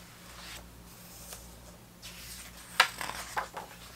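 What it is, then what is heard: Turning thick book pages. Hands turn the thick paper photo pages of an open vintage hardcover book about 1970s soccer, with fingers brushing across the page surfaces. Soft, airy rustling and rubbing give way to sharper, bright crackles and snaps of paper near the end, over a faint steady low hum.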